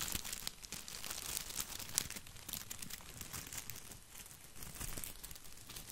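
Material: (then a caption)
Plastic. Fingers rub and scratch the plastic leaves of an artificial boxwood topiary ball held close to the mic. The result is a steady, bright crinkling and scratching texture, full of tiny dense clicks with a faint low rumble underneath.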